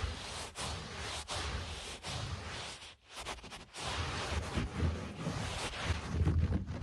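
Short nails scratch and scurry across a low-pile speckled carpet, making a dense, rustling scrape with a heavy low rumble underneath. The scratching runs almost continuously, with a brief quiet dip around the middle before it picks up again and grows slightly louder toward the end.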